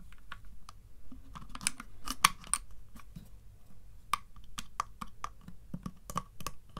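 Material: Wood.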